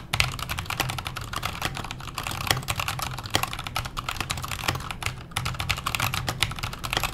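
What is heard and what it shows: Fingertips type steadily on a backlit KONO kira mechanical keyboard with Hako Clear switches, a metal case and plastic keycaps. A fast, continuous run of sharp, bright clicky keystrokes with short decays sits over a steady low hum.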